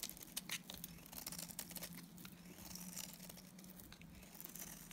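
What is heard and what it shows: A solid pink oval Timotei bar of dry soap with red inclusions is held in the hand and shaved with a box cutter blade. Dense, bright, crackly scraping and cutting sounds run throughout over a steady low hum.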